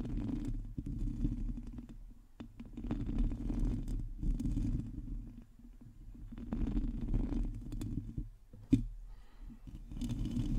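Long teal acrylic nails scratch the hollow metal mesh grille of a black microphone. The sound is a dense, low rumbling scrape that swells and fades in uneven waves, with a sharp tick near the end.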